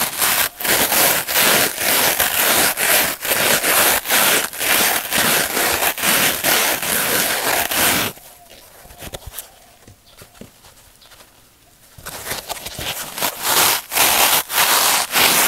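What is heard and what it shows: A dry, palm-sized rectangular yellow polyurethane foam sponge with a green abrasive scouring-pad layer, soft and porous, is held in both hands above a glass table with other sponges and squeezed and rubbed with the fingertips. Dense, bright crackling scrapes come in a quick, fairly steady rhythm. The sound drops to a faint rustle for about four seconds, then the loud crackling resumes.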